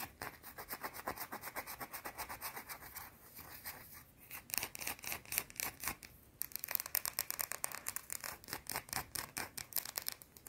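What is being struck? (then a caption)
Round soap bar. Long blue-painted nails rub and scratch quickly over the surface of a small, solid, round white soap bar, making a steady run of dry, bright scratching strokes with almost no low end. The strokes briefly soften twice before returning in sharper, more irregular bursts.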